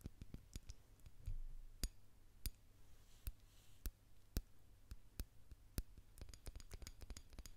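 A small, hollow white ceramic candle jar with wax inside, possibly opaque white glass, is held in one hand in front of the microphone and tapped with fingernails. Sharp, dry clicks with bright tops die away almost at once, spaced irregularly and bunching into quicker taps near the end. A steady low hum sits underneath.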